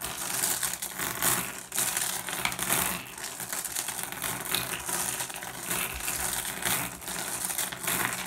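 A pile of small, solid, blue iridescent flat glass gems on a wooden surface is raked and shuffled by fingertips. The result is a continuous, bright clatter of overlapping clicks and clinks with very short rings, rising and falling in waves as the gems are stirred.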